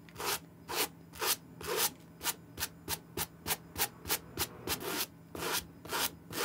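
A hand-held, dry green Nike SB Air suede sneaker is scrubbed on its side and heel with a white suede brush in rapid strokes. Seventeen quick, bright, bristly rubbing sweeps are heard, each fading almost immediately, with a faint steady low hum underneath.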